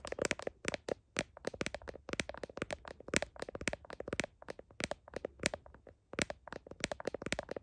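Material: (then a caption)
Plastic. Fingertips and nails of one hand rapidly tap and scratch the back and camera lens area of a solid handheld smartphone in a glossy blue heart-print plastic case, while the other hand holds the phone; it is the phone doing the recording. The result is irregular bursts of sharp, dry, clicky taps with a hollow midrange body, bright scratchy edges and almost no ring, separated by short quiet pauses.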